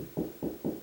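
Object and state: Solid drywall ceiling over a joist.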